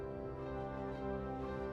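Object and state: Nothing is struck.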